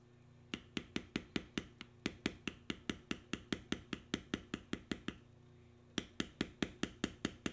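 A steel beveler, held in the fingers along the carved knotwork lines of a solid tan veg-tan leather strip resting on a stone surface, is tapped repeatedly to tool the leather. About 31 short, sharp, dry taps with bright clicky tops come in a quick, steady run, pause briefly, then resume over a faint low hum.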